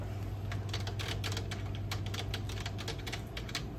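Fingertips from both hands tap rapidly and unevenly on the hollow plastic keys of a dark plastic desktop computer keyboard resting on a wooden desk. The result is a stream of quick, bright clicks over a steady low hum.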